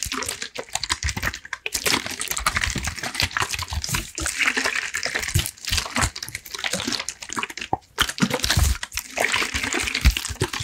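A clear plastic water bottle with a red cap and white label, partly filled with water, is held in one hand while fingertips rapidly tap and scratch it and shake it. Quick, dense plastic taps and bright scratching mix with sloshing and splashing water inside, with brief pauses between bursts.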